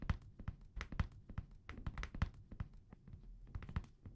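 A small amber glass perfume bottle with a paper label, held sideways in both hands, is tapped with fingertips and nails. The taps come quickly and irregularly, each a soft, dull, low thud with a short bright click on top. They die away at once without ringing.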